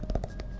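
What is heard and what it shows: A notebook with a unique cover that makes it sound a little different is tapped by hand, with no nails needed. A few quick, soft, dull taps land close together, each with a low, muffled thud that dies away almost at once.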